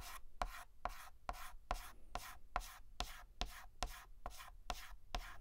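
A hand hatches a letter on a large, flat, black painted chalkboard with a stick of white chalk, making rapid short scratching, rubbing strokes. Twelve quick, evenly paced strokes each give a dry, bright scrape with a faint squeaky tone near 720 Hz. Each stroke cuts off sharply, leaving quiet pauses between them.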